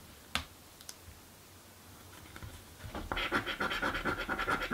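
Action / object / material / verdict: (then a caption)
scrape / paper scratch card with latex coating, scraped with a coin / paper / none. A coin scrapes the latex coating off a blue paper lottery scratch card held flat. A sharp tap and a few faint ticks sound over near silence, then from about three seconds in come rapid, raspy back-and-forth scratching strokes with a bright, papery texture.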